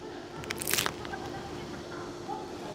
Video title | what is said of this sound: 洛阳美食之旅：【烫面角】Steamed Dumplings，主厨揭秘做法！跟着学，你也能做出这道美食！【有多种语言字幕】#中国美食 #中国味 #中国菜 | 这刚上来的饼嘎嘎脆啊弹起来都能听到这样的响声